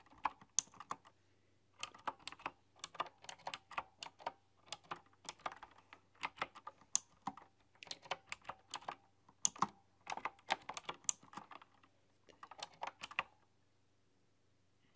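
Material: Plastic and metal.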